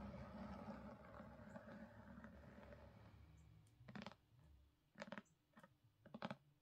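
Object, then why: Hardcover book cover. Long nails on both hands tap rapidly on the front cover of a solid black *Crooked Kingdom* hardcover book with gold foil. For the first three seconds the tapping is a dense, soft patter, then it breaks into a few short, louder bursts of quick clicks separated by brief pauses.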